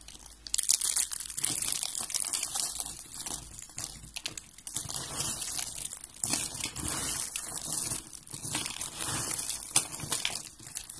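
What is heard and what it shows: Fingers with red nails crumble and crush a roll and flakes of yellow and white dry soap curls. The result is a continuous, dense, crisp crunching and crinkling with bright, high-heavy texture and very short dry snaps.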